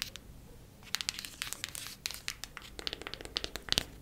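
A cardboard eyeshadow palette is tapped quickly with the nails, making a rapid, irregular run of light, bright clicks. Each tap is crisp and dies away almost instantly, with a faint crinkly rustle between taps and a few sharper taps near the end.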